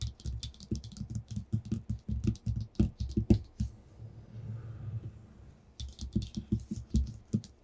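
Fingertips with short nails, held in a clawed position, tap and lightly scratch a flat white sheet of paper lying on a table. Quick, dull taps with bright clicky edges come in an uneven run, pause for a softer scratchy rustle in the middle, then pick up again. Each tap dies away almost at once.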